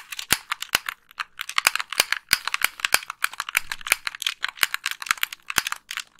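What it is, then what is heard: Plastic game controller. Long pink nails rapidly click the buttons and tap the face of a hollow white plastic Xbox 360 gamepad. The result is a dense run of sharp, dry plastic clicks and ticks, bright and crisp with almost no low end, each stopping instantly with no ring.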